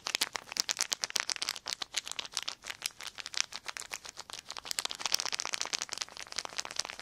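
A crumpled clear plastic sheet of film is crinkled and crushed between the fingertips of both hands. It makes a steady stream of dense, crisp, bright crackles with no low end, each snap dry and instantly gone.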